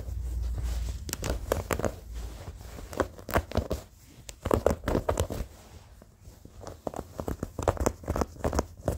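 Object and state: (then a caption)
Old denim jeans being scratched. Short fingernails scratch the fabric and seams of old blue denim jeans, after the hand is raised at the start. A low rumble opens the clip, then come quick, dry, rasping scratch strokes in uneven bursts with brief pauses, mostly in the midrange with a bright edge on each stroke.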